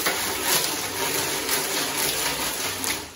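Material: Steel.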